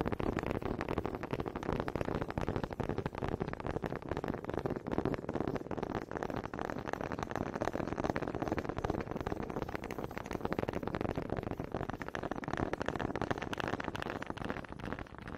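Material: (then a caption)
Wood. Long pink nails tap and scratch along the grooves of a small, solid wooden honey dipper with a grooved head, held close to the mic. The result is a dense, steady stream of quick, dry clicks and scratchy rasps with a warm low-mid body and little brightness, each tap dying away almost instantly.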